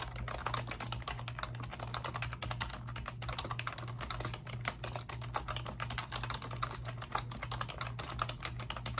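Both hands with long pink nails type rapidly on a pink plastic computer keyboard with round, backlit, typewriter-style keycaps. A dense, continuous stream of short, bright plastic clicks and nail taps carries over a steady low hum.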